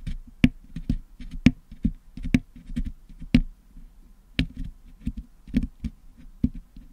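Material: Metal mesh.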